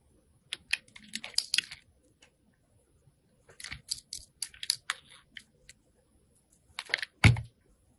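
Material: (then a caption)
Soap. A metal box cutter blade shaves and cuts the edges of a hand-sized, solid white rectangular soap bar held in the hand. It makes a series of short, crisp, bright scraping and slicing bursts in quick clusters with brief pauses between them. A firmer, louder cut near the end adds a low thud.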